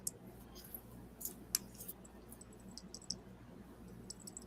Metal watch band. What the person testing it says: kind of tinny, right? Yeah. If if it were the real watch, it it the real one is not going to make that sound.